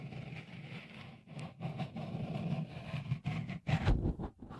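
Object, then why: Silicone microphone cover. Fingertips rub a small, hollow, white dimpled cover, likely silicone, fitted over the left microphone capsule of a Tascam recorder. The result is a close, muffled, low rumbling scrape with soft rustling texture, swelling into louder brushing strokes toward the end.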